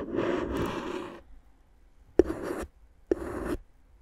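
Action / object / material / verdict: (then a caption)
scrape / plastic air-column cushion wrap scraped and tapped with a wooden stick / plastic / none. A wooden stick held in a hand with long dark nails taps and scratches clear, hollow, air-filled plastic air-column cushion wrap wrapped around the microphone. A long scratchy rub is followed by two sharp taps, and each tap runs into a short scrape against the inflated plastic tubes. The sound is a crinkly, mid-toned rasp.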